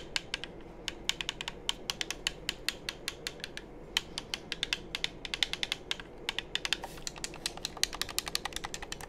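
Fingertips tap the shell of a hollow black plastic game controller held close to the mic and click its buttons. A steady, uneven stream of short, dry, bright clicks and taps stops dead with no ring, over a faint low background hiss.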